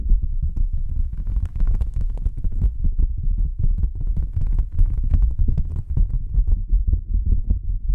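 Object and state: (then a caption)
Thin cardboard sheet being tapped. A thin, flat white cardboard sheet held between two microphones is tapped rapidly with long nails and fingertips. The taps blur into a dense, low, throbbing thump, with faint bright clicks over it. Each tap dies away almost at once.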